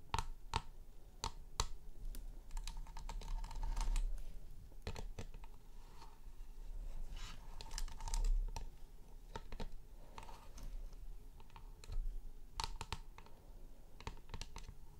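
Long nails tap and scratch the frosted plastic top and edge of a round, low, hollow chrome LED light base with a glowing top. The result is quick, bright clicks scattered at irregular intervals over soft scratchy rustling and a low steady hum.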